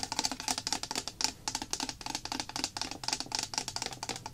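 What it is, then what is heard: Plastic glue bottle, full. Long nails tap quickly on a small, apparently full white plastic bottle of clear PVA glue solution with a paper label. About 29 bright, dry clicks come in a fast, uneven run, each dying away almost at once with a faint hollow tone near 860 Hz.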